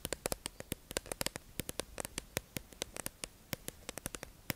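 A hollow, clear plastic tube-shaped beauty sponge package holding two beige makeup sponges is held in the hand and tapped and scratched with long acrylic nails. About thirty sharp, dry, bright clicks come in an uneven, quick rhythm, each dying away almost instantly. A faint steady hiss sits underneath.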